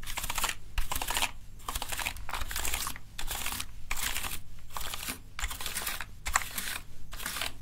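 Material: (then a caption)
Plastic. A small tool is worked over the keys of a hollow plastic gaming keyboard held in the hands, brushing and clicking them. Bursts of dry, bright scratchy brushing alternate with short quiet gaps, over a steady low hum and quick clicks.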